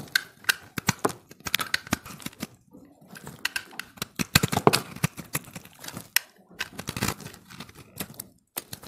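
A utility-knife blade shaves and scrapes thin layers off the surface of a solid, hand-held ball of pressed multicolored dry recycled soap. The result is a rapid series of short, crisp, bright scraping crackles with little ring, broken by brief pauses.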